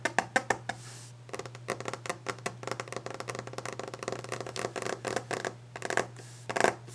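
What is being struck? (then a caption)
Varnished wooden desk top. Long nails tap aggressively on a solid varnished wooden desk top in fast fingertip drumming, producing rapid, dry clicking taps with a woody knock that die away almost instantly. The bursts come in uneven rushes, with a brief scratchy rasp early on, over a steady low hum.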